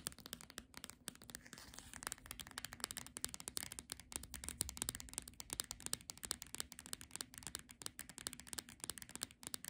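Long nails quickly tap and scratch the glossy cover of a solid Monet picnic paperback book. A rapid, dense stream of dry, bright clicks and scratchy rustles, quiet overall and concentrated in the high range, with each tap stopping instantly.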